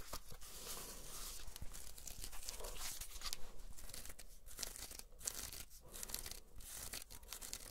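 Long nails scratch along the braided, coiled jute rope of a solid espadrille wedge sandal with a canvas upper. The result is a steady, dense, dry scratching and crackling with a bright hiss and a few brief pauses in the strokes.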